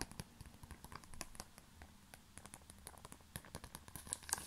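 A small black glossy plastic pouch is crinkled and rubbed between the fingers. Quiet, dense crackles and rustles run throughout, each one bright and very short, over a low murmur.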